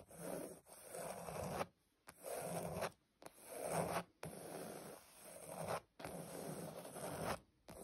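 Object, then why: Padded leather upholstery. Long pointed nails scratch across a flat, padded surface covered in cream grained leather or faux leather, making dry, rasping, zipper-like strokes. The strokes come in several bursts separated by brief silences.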